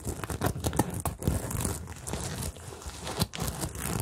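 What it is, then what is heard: Plastic sequin bag, scratched and rubbed. Long nails scratch and fingertips rub a medium-sized, hollow rainbow bag covered in plastic sequins on fabric, flipping the sequins over. The result is a dense, crinkly rustle of quick scratches and small clicking flicks, with a soft low body and a bright, sparkling top.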